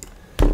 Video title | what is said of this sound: Yokomo Super Off-Road SO 1.0 2WD Review with Mat Jenkins - #askhearns | It's just ever so slightly tapping on the chassis